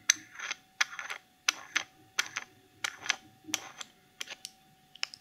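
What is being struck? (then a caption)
Small plastic cosmetic jar with screw lid. Long polished nails tap and scratch the black plastic screw lid and sides of a small clear cosmetic jar filled with pink glitter. Sharp, bright clicks arrive in loose, uneven bursts, each followed by a short, dry scratching rustle, over a faint steady tone.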